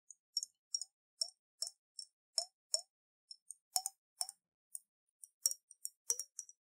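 Long nails tap the side of a round clear glass bottle, about half full of water with a silver metal cap, as it is held in the hands and tilted so the water sloshes. A quick series of short, bright clicking taps is heard, many with a brief hollow plop that glides upward in pitch, each dying away almost at once in quiet.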